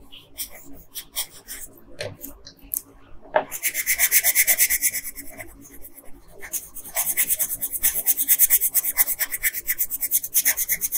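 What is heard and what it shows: A blue wooden colored pencil, held in a hand with long nails, rubs a flat printed paper coloring sheet in short strokes. A few sparse scratches open the clip, then a rapid run of bright, hissy strokes begins, eases briefly, and returns even louder.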